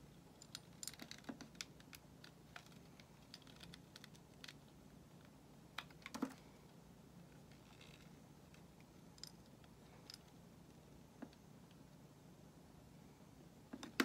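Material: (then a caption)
Soap. A metal utility knife blade shaves a solid white bar of soap held in the hand. Short, dry, clicky scrapes come one after another over a quiet, steady low background, with a brief burst of louder scrapes at the very end. Each scrape stops almost instantly.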